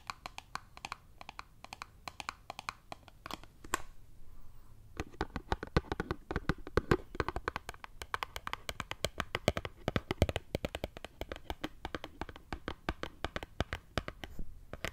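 Long nails tap rapidly on a small, closed, printed cardboard Dove soap box held near the microphone. The taps are crisp, dry clicks with a soft hollow low thump and almost no ring. After a brief pause, they resume in a dense, irregular flurry.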